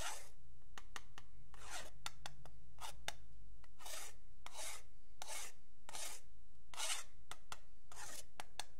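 A metal pen tip scratches and taps along the edge of a long, flat, solid wooden yardstick held by fingertips. Bright, raspy scratching strokes alternate with short, sharp taps over a steady low hum.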